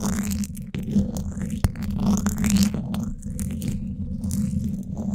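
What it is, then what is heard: Metal mesh microphone grille being scratched. Thin wooden sticks are scratched across the sides of the hollow, domed woven steel mesh grille of a Blue Yeti microphone, held close to it. The result is a dense, continuous low scraping rumble with crackly texture and a few sharper clicks standing out.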